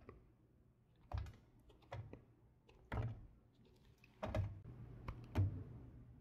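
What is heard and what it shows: A solid light blue bar of soap, held in the fingers, is carved with a red patterned knife. Soft scraping and slicing strokes come in irregular bursts, with dull, low-heavy cuts that die away quickly.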